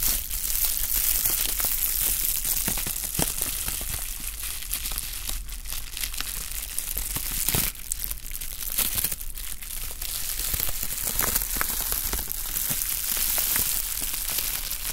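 A sheet of clear plastic bubble wrap, held in both hands, is crinkled and squeezed with the fingers. The result is a steady, dense crackling and crinkling with bright, sharp pops scattered throughout and a low rumble underneath.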